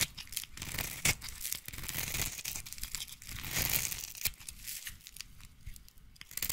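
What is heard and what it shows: A utility knife blade scrapes and shaves a solid pink bar of soap, peeling off pink shavings. The sound is a dry, bright, crackling scrape in uneven strokes, broken by a few sharp clicks where the blade catches.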